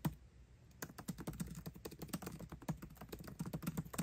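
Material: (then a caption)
Plastic. Both hands type fast with their fingertips on a 13-inch aluminium MacBook Pro's backlit black plastic keycaps, tapping the keys continuously. After a single tap and a brief lull, a dense, rapid stream of short, soft, low-pitched clicks follows, each one dying away almost instantly.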